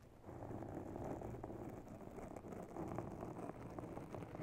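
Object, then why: Foam microphone windscreen. Long natural nails scratch slowly across a grey foam microphone cover, producing a dense, muffled rustling scrape heavy in the low and middle range. Small crackling ticks rise out of the steady scratching, which stays soft and continuous after a quiet start.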